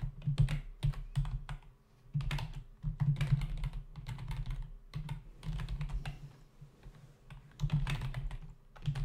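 Both hands tap the plastic keys of a black plastic membrane computer keyboard with a hollow body, resting on a desk, typing with fingertips. Rapid bursts of soft, low, hollow clicks and thumps come in uneven runs, with brief lulls near two and five seconds and again around seven seconds. Each keystroke dies away almost at once.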